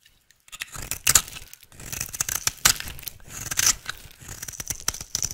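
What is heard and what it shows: An oval, solid, dry pink soap bar held in the hand is shaved with a utility knife blade into fine shreds. Bright, crisp scraping and crunching strokes come in quick, irregular bursts with a high, hissy edge and almost no low end. The strokes are short and dry, with no ringing.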